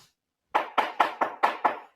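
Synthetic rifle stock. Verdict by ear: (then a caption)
Hollow. Six knocks on the synthetic stock of a CZ 457 Varmint .22 rifle give quick, hollow, mid-pitched thuds that die away fast. The stock is empty inside to save weight, and this hollow stock is the rifle's weak point.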